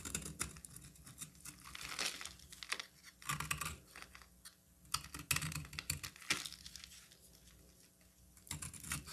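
A solid orange bar of soap, held in the hand, is cut and scraped with a utility knife blade. Bursts of dry, crisp scraping and crackling come with dense, quick clicks that are mostly bright. The bursts rise and fall with quieter gaps between strokes.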